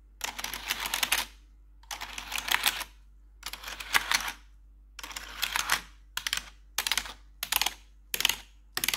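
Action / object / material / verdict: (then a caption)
tap / plastic computer keyboard / plastic / none. Metal claw nails tap across the keys of a black plastic RGB backlit computer keyboard. The result is bursts of rapid, bright, clicky tapping separated by short silences, with the bursts growing shorter toward the end.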